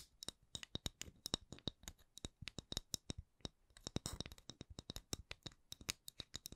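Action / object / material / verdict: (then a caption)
tap / wooden candle lid / wood / none. A palm-sized, solid, round wooden candle lid with a printed logo is tapped and scratched with long acrylic nails. About 37 quick, dry taps with bright clicky tops and almost no ring come at a slow-to-medium pace, with a brief scratchy burst near the middle.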